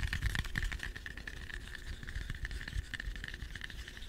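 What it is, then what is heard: Green apple. A small, solid, whole green apple is held in both hands close to the microphone and tapped rapidly with fingertips and short nails. The result is a quick, irregular stream of soft, dull thuds, mostly low in pitch, with a faint steady tone near 2 kHz and light clicks on top.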